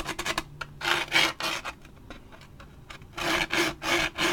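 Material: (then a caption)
Waxed paper. Fingernails and a thin stick scratch the side and top edge of a large waxed paper drink cup with a plastic lid. Quick, bright, rasping scrapes come in bursts: a flurry of short strokes, longer louder strokes, a quiet stretch of faint scratching, then another run of strong strokes.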